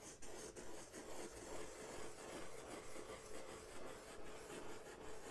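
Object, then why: Corrugated cardboard sheet. A large, flat brown corrugated cardboard sheet is held upright at its top edge by one hand while the other hand rubs and draws on its surface with a white-barrelled marker. The result is a steady, soft scratchy rasp that swells and fades in quick, fairly regular strokes, with a mid-range hiss over faint low rumble.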